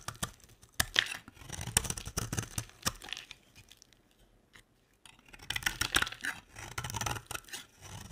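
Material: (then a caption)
Soap. A utility knife blade scrapes and carves the edge of a solid, dry, beige square bar of soap. Crisp, bright scraping and crunching strokes come in bursts with sharp clicks, broken by a quiet pause near the middle before the carving picks up again.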